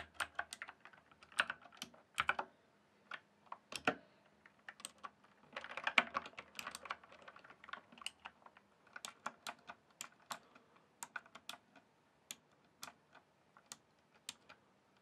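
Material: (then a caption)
Plastic. A full-size RGB-backlit plastic mechanical computer keyboard with hollow keys on a solid base is typed and tapped slowly with fingertips. Sharp, bright, quick-decaying clicks come in uneven bursts, some bunched close together and others spaced apart, over a quiet background.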